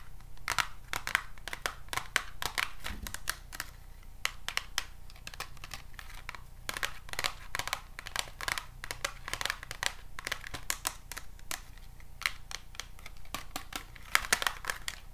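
A small, hollow, white printed Sassy+Chic cardboard box is tapped and scratched with paper clip nails. Rapid, sharp, dry clicks and scratchy crinkling ticks come in irregular bursts. Each hit dies away almost instantly over a quiet, steady low hum.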